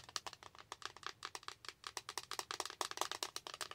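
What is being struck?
Plastic eyeshadow palette in blister packaging.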